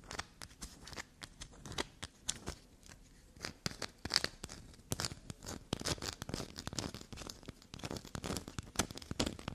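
A small, solid black soap bar with a carved and shaved surface is held up and scratched and scraped with long, glossy black nails. Quick, dry, bright scratching and crunchy scraping strokes come in rapid bursts, with many short, sharp sounds and no ringing.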